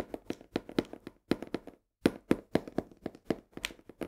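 A full cardboard box of coarse salt is tilted in hand while long nails tap and scratch along its edges. Eighteen quick, dry, uneven taps with a muted papery midrange thump and faint scratchy brightness die away almost instantly, with a brief silent pause just before the two-second mark.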